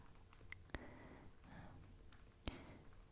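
Fingertips and short, dark-painted nails tap the glossy printed cover and edges of a large hardcover "Surrealists" art book lying closed and flat on a blue towel. Sharp, dry clicks stand out from a quiet bed of soft brushing and rustling over a faint low rumble, with no ring after each tap.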